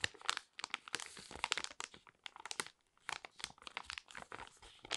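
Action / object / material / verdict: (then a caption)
scrape / foil-laminate sachet / foil laminate / none. A small, flat, sealed and full foil-laminate sheet mask sachet is held in both hands and crinkled and scratched with long red nails. It makes quiet, bright, crisp crinkles and scratchy rustles in rapid irregular bursts with brief pauses, with almost no low end and no ringing after each crackle.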